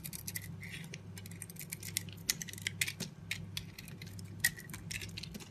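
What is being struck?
Bar of soap cut with a knife blade.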